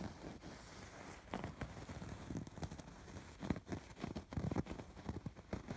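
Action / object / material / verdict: scrape / embroidered fabric pillow / fabric / none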